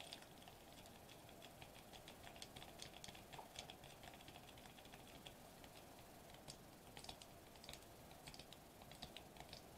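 Fingertips with short nails tap rapidly on a foil-laminated plastic bubble wrap sheet lying flat on a table. The result is a quiet, steady stream of short, bright clicks and crisp ticks over a soft, continuous midrange hiss, each tap dying away almost instantly.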